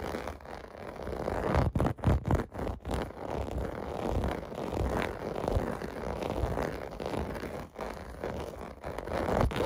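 Fingertips scratch and tap across a large, flat, clear blue plastic bath mat covered in small hollow bubble domes, resting on carpet. A steady, dull, low-heavy scraping and rustling runs throughout, broken by a quick run of sharper taps about two seconds in.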